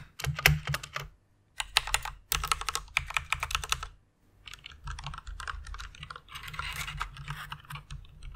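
Fingertips and long red nails type on a full-size white Ducky One RGB mechanical keyboard with plastic keycaps and Cherry MX red switches, resting on a pink fluffy pad. Quick bursts of bright, clacky key presses and nail taps over a soft low thud come in three runs separated by two short pauses, the last stretch steadier and more continuous.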